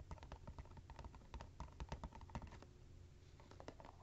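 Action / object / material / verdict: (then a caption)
tap / small cardboard box / cardboard / none. Fingernails tap and scratch the top and sides of a small, hollow, likely empty printed cardboard box of coaster packaging resting on cork coasters, then both hands hold the box and tap on it. The result is a rapid, uneven patter of soft, dull taps with a low, hollow body and light scratchy clicks that die away almost instantly.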